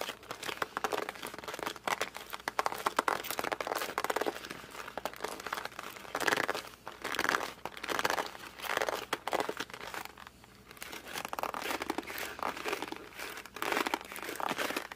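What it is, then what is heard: Cardboard box squeezed by hand. A closed cardboard puzzle box is gripped and squeezed with fingertips and thumbs, then turned and held on its side. It gives a steady stream of dry, squeaky crinkling and crackling, mostly midrange with almost no low end. The sound comes in short bursts that swell and fade as the grip shifts.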